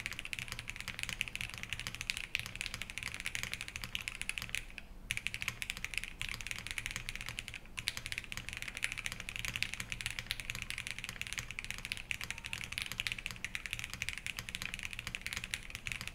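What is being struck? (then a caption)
Mechanical keyboard with plastic keycaps and metal case. A Think6.5 v3 compact 65% mechanical keyboard, with a black metal case, Harmony switches on an FR4 plate and white ABS keycaps, sits on a wooden desk and is typed on steadily with the fingertips of both hands. Quick, dry, bright clacks of key presses and bottom-outs run continuously, centered around 2.5 kHz with a faint low thump underneath. The typing pauses briefly near 5 and 7.7 seconds.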